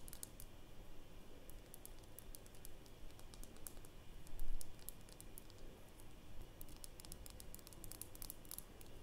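Long nails tap rapidly on the glass sides of a small glass nail polish bottle with a black cap, filled with polish and held in the hands. The taps are quiet, light, bright clicks that come in irregular bursts over a low, steady background rumble, with one slightly louder moment near the middle.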